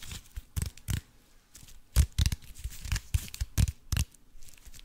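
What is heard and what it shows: Fingernails scratch and tap the crinkled surface of an aluminium foil-wrapped cube held up in front of the face. The result is a run of short, crackly bursts with dull low thumps under bright, papery rustling, each dying away almost instantly.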